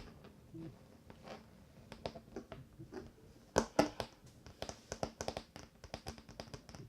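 Fingers tap on a wooden table top in a quick, uneven series of about twenty short, dry knocks that die away almost at once. The taps are quiet with a low-mid body, and two louder, sharper raps stand out in the middle before the light tapping continues.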